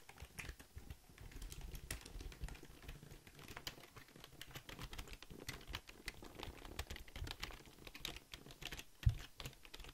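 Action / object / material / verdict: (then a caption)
tap / plastic computer keyboard / plastic / none. Fingertips type quickly on a hollow, full-size black Logitech plastic keyboard held close to the mic. The result is a steady stream of rapid, short, dry clicks and clacks with a thumpy low body and bright edges, with one sharper, louder clack near the end.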